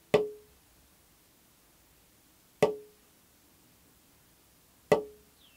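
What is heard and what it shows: The free wooden back plate of an acoustic guitar, held up while its braces are being shaped, is tapped three times to find its tap tone for Peterson StroboSoft's tap tune feature. Each tap gives a short woody knock with a clear ring near 420 Hz that dies away in about a tenth of a second, with quiet gaps between taps.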